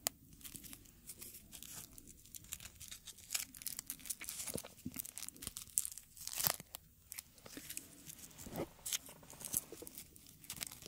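Small, thin, dry and brittle dark red dried rose petals are rubbed, crumpled and torn between the fingertips of both hands in front of the microphones. The result is a quiet, steady stream of bright crinkling, crunching and tearing crackles, with sharp dry snaps that stop instantly and almost no low end.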